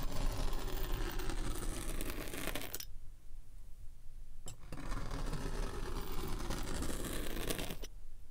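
A steel pinwheel roller is rolled across the top of a solid, packed rectangular slab of purple kinetic sand resting on a white surface, pricking and scratching it. It makes a dense, crunchy scratching with a low rumble underneath. The sound drops to near quiet for about a second and a half, then the crunching resumes until it cuts off near the end.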